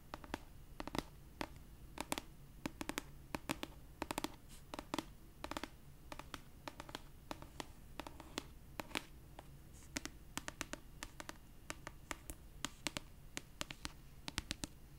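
Long purple nails scratch and tap the paper cover of an orange paperback copy of "A Court of Thorns and Roses" held upright. Many quick, dry clicks and taps come in irregular bursts over a soft, steady scratching hiss, each dying away almost instantly.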